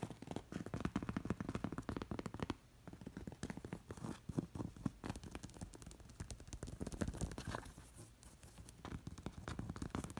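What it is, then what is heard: Cowhide-covered pillow with leather straps. Long nails scratch and tap a stuffed cushion covered in cowhide with black leather lacing straps. The result is a dense run of soft, low, muffled scratches and quick dull taps, with quieter, sparser stretches in the middle and near the end.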